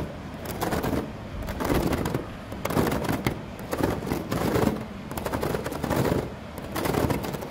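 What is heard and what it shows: Fingertips and nails scratch and tap across a flat woven synthetic-rattan surface, likely outdoor furniture. Quick, dry crackling rattles come in repeated bursts lasting about a second each, with short quieter gaps between them. The sound is mostly low-mid, with little high content.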